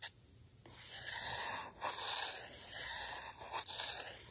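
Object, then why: Thin printed paper disc on a sheet of paper. A fingertip rubs and taps across a flat, thin printed paper circle, a Camp Tingle badge, lying on a sheet of white paper on a table. Three bright, dry, hissy rubbing strokes follow short pauses, with almost no low end.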